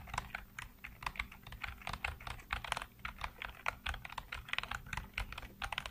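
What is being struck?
Plastic computer keyboard.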